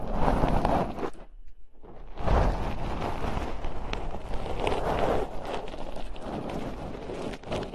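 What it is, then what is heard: Metal mesh microphone grille being scratched. Long nails scratch the bare, hollow metal mesh grilles of microphones, then the fingers move to the sides of the mic heads. The result is a dense, rustling scratch heavy in low rumble, broken by a brief silence about one second in before the scratching resumes steadily.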